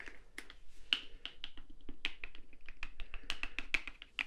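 A small translucent blue plastic Sally Hansen cuticle remover bottle with a white cap, partly filled with liquid, is held in the fingers and tapped with fingernails. The result is a quick, uneven run of sharp, clicky taps, each with a brief bright plastic ring around 3 kHz that dies away almost at once.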